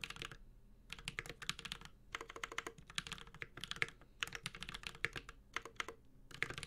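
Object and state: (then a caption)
Mechanical keyboard, metal case with plastic keycaps. A Space65 Cybervoyager 65% mechanical keyboard with Holy Panda switches, an aluminum case and ABS keycaps is typed on continuously with the fingertips of both hands. Quick runs of crisp, bright clacks centered near 2 kHz, each dying out almost instantly, come in bursts separated by brief pauses, with a faint low thump beneath the keystrokes.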